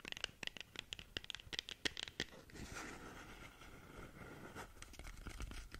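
Long nails scratch and tap along a long, narrow, hollow, closed black cardboard lip gloss box. A quick run of sharp, bright clicks with a hollow papery ring gives way to a steady scraping rub. It ends in more scattered scratchy ticks.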